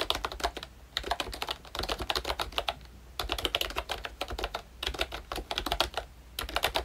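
Fingertips type on a full-size ROYCHE Disney Mickey Mouse retro membrane keyboard with a hollow pink plastic case and round black plastic keycaps. Bursts of quick, bright plastic clicks and light clacks come in runs separated by short pauses. Each keystroke dies away almost at once.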